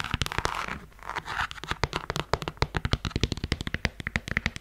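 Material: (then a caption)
Faux suede. Long nails scratch along the sole side and ankle strap of a beige faux suede strappy heeled sandal held sideways. A soft, dry brushing scrape comes first, then a quick run of short, sharp clicky taps with a low thud beneath them.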